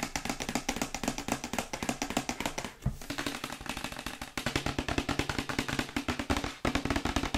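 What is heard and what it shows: Long white acrylic nails rapidly tap a glossy printed cardboard Yeti microphone box held sideways. The result is a dense, continuous stream of crisp, hollow clicks with a low cardboard body and bright edges, broken by brief breaks near 3, 4.3 and 6.6 seconds.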